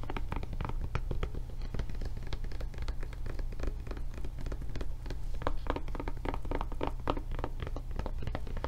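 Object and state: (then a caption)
Silicone rubber tablet case. Long nails scratch and tap rapidly across a blue silicone rubber tablet case with its handle raised, giving dense, dull, soft thuds and scratchy strokes over a steady low hum. The taps are short and damped with little ring, and the sound stays at an even, fairly quiet level throughout.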